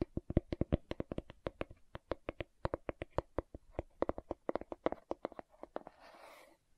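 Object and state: Plastic aloe gel jar.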